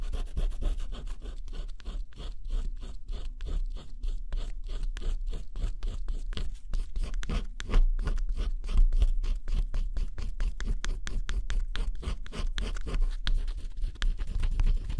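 A wooden stylus held in the fingers scratches the black coating off a flat cardboard scratch-off jigsaw puzzle lying on a table, revealing blue and pink underneath. Rapid, steady back-and-forth scratching strokes sound dry and raspy, with a soft low thud beneath each pass, and the pace quickens toward the middle.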